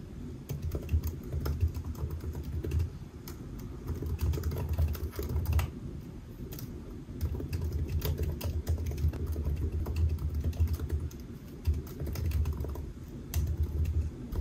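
Fingertips of both hands type on the black plastic keys of a solid silver aluminium laptop resting on a white desk. Quick, soft key taps run almost continuously over a steady low hum, with brief dips in level between bursts.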